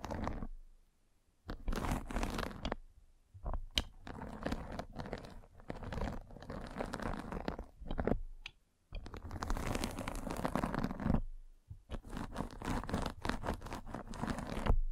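A metal-spiked derma roller is rolled across a white fabric mesh net stretched over a round microphone head, scratching the netting. Dense, crunchy scratching comes in sustained bursts heavy in low rumble, with brief quiet pauses between passes.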